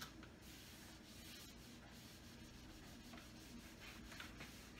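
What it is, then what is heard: Wooden cabinet door being wiped. A hand rubs and wipes a paper towel across the lower part of a large wood-grain wooden kitchen cabinet door. The result is a steady, quiet, continuous rubbing hiss with a low rumble underneath, plus a possible faint spray.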